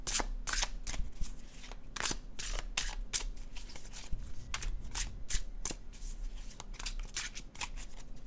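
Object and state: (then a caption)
Paper tarot card deck being shuffled. An illustrated cardstock tarot deck is overhand shuffled in hand, making a steady run of crisp, bright papery flicks and soft slaps as cards drop from one hand into the other. A faint low hum sits underneath the repeated card sounds throughout.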